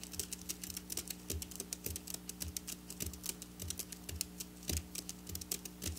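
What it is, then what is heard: Sequin fabric. Long black nails tap and scratch fast across silver sequin fabric. The result is a quick stream of crisp, bright clicks and rustles over a steady low hum.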